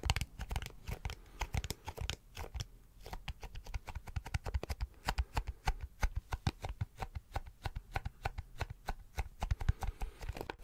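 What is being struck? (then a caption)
Plastic glasses case. A teal plastic glasses case, held in both hands next to the mic, is tapped and scratched with the fingertips. Dozens of quick, dull, low-heavy taps run throughout, each dying almost instantly, mixed with brief crackly scratching.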